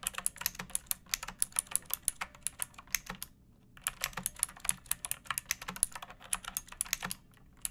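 Long painted nails and fingertips type on a pink plastic mechanical keyboard with round backlit keycaps and a hollow body resting on a wooden surface. Quick, bright, clicky keystrokes come in bursts with a short pause near the middle, each one sharp and dying away almost instantly.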